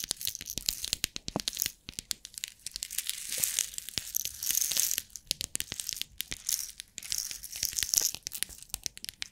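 Long nails tap and scratch the lid of a long clear plastic compartment box holding rhinestones, and the box is shaken. A dense run of sharp, bright clicks and scratchy rasps mixes with the rattle of the loose rhinestones, with almost no low end and rising and falling bursts throughout.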